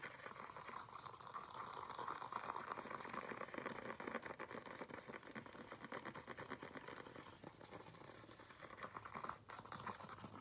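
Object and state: Faux leather flat shoe.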